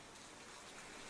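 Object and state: Nothing is struck.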